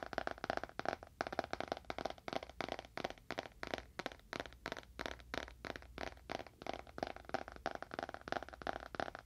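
Fingernails tap quickly on the cover and edges of a dark, solid leather-bound book held horizontally in both hands. The taps come in a fast, uneven stream of short, dry clicks with little ring, centered in the mid-range around 670 Hz with some crisp brighter edges. The sound stays close and steady throughout.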